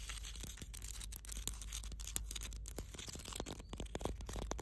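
Long blue nails on both hands scratch across the grainy surface of a large, solid granite rock. The result is a dense, bright, gritty rasping dotted with quick clicks and scrapes over a steady low rumble.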